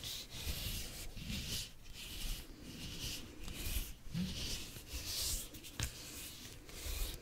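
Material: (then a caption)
Cucumber skin. Long acrylic nails scratch and rub along the ridged green skin of a long, whole, unwrapped English cucumber that is solid and held up in both hands. The result is an irregular, continuous scraping with a bright, hissy texture over a low rumble, broken by a couple of sharper scratches.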